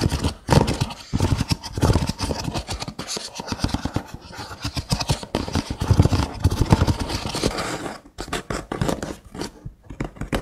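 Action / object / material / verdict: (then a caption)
scrape / nested paper cups / paper / none. Fingernails scratch along the rims of a hollow stack of nested brown kraft paper cups, making dense, rapid bursts of dry scraping with a low, hollow body and a brighter papery rasp on top. The scratching comes in uneven runs with brief pauses, growing choppier toward the end.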